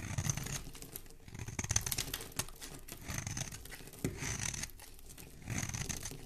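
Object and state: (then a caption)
Bar of soap being scraped. A small, solid, cream-colored bar of soap with a paw-print stamp is held in one hand and scraped along its edge with a metal blade, shaving off crumbly flakes. Repeated dry, crackly scraping strokes come in bursts, with bright high-end rasp over a soft low rumble and short sharp ticks where flakes break away.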